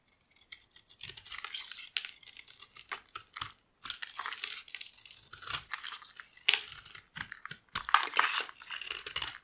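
A metal blade scrapes crumbly shavings off a solid, dry, oval yellow bar of soap held in the palm. It makes dense, bright, crackly scraping strokes with a tearing, crunchy texture, separated by brief pauses.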